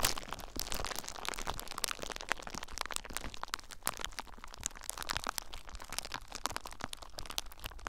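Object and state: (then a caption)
Plastic bubble wrap being popped. Fingertips with short nails squeeze and pop clear plastic bubble wrap bundled around a recorder. A dense, irregular run of sharp, bright cracks and snaps rises over a steady low crinkling rustle, with each pop dying away almost instantly.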